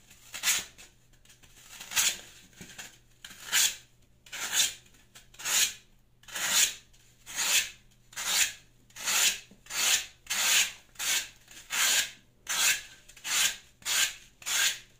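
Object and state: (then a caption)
Floral foam block being shaved. A rounded, solid green floral foam block is shaved with a Y-peeler blade, leaving foam strips on the mat. Eighteen bright, airy scraping strokes are heard in a loose, uneven rhythm, each a short hissing rasp that fades quickly.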